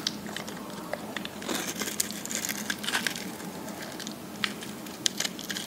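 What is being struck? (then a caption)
Bar of soap scraped with a metal blade. A metal blade scrapes and carves the surface of a dry, solid pink bar soap, now thinner and held in the hand, as pink shavings pile up below. The sound is a quiet, continuous, bright crackling scrape with many crisp, short clicks scattered through it, denser in the middle.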